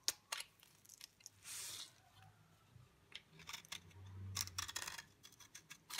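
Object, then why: Bar soap. A utility knife blade scrapes the surface and edges of a solid, dry yellow bar soap held in the hand, shaving off flakes. The result is a string of quiet, bright, crisp scraping clicks and short rasps with a very short, dry decay. There is also a softer hiss around the middle of the clip and a low hum near the end.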